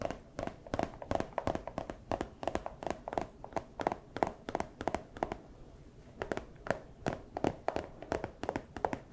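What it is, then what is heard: Empty clear plastic bag. A small, empty clear plastic pouch held close to the camera is tapped and scratched with fursuit claws. About 45 quick, sharp, crinkly taps fall in an irregular rhythm, each with a bright papery edge over a midrange tone and almost no ring. The taps pause briefly near the middle before resuming.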